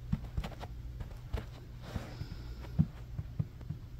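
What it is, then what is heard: Synthetic carpet being scratched. Fingertips and short nails of both hands claw quickly back and forth across a low-pile beige synthetic carpet on a room floor. The result is a soft, muffled, low-heavy rustle broken by dull thumps, with a steady faint hum underneath.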